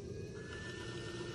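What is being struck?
Nothing is struck.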